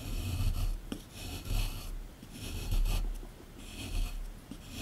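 A small chisel tool scratches and scrapes a solid plaster excavation block sitting in a tray. It makes rough, rasping strokes that rise and fall in bursts about once a second, with a low rumbling undertone and bright gritty scraping on top.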